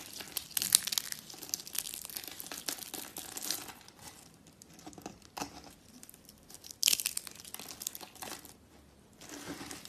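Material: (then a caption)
Soap. Hands with dark nails crush and crumble handfuls of brittle, dry teal, white and pink soap shavings heaped on a woven mat. The result is a bright, crunchy crinkling made of dense bursts of small crackles, loudest near the start and again around seven seconds, with quieter gaps between.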